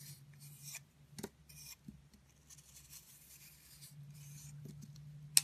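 A red-handled utility blade scrapes and carves a solid round pink soap with a blue core held in the palm, making soft, bright, papery scraping strokes over a faint low hum. The clip ends with two sharp, crisp cuts close together.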